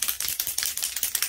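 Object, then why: Metal aerosol spray can. A Punky Colour Platinum temporary hair color aerosol spray can is shaken well before spraying. Eight quick, bright rattling clicks repeat in a steady rhythm as the contents knock around inside the can.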